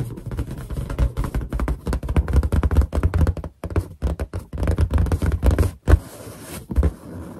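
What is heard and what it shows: Long painted nails and finger pads tap rapidly across the surface of a large, hollow, inflated white latex balloon. The result is a dense run of short, dull, low thumps with almost no ring. Near the end the tapping thins into softer, quieter touches.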